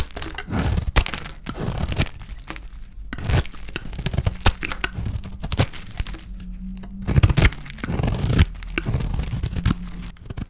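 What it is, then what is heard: Dry bar soap being cut. A palm-sized solid oval bar of dry white soap with a rose-gold painted coating is held in the hand and scraped with a small metal blade that cuts off slices. The cuts make dry, crisp crackling and crunching scrapes in quick bursts, with bright edges over a low background rumble.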